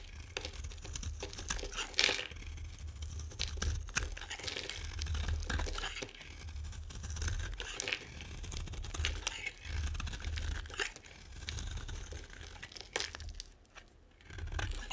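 A metal blade carves and scrapes thin curls off a solid, dry, oval green bar of soap held in the hand. Dense, crisp crunching and tearing scrapes run throughout, with bright crackly edges over a steady low rumble. Sharper bursts stand out near the start and in the middle, and there is a brief quieter dip near the end.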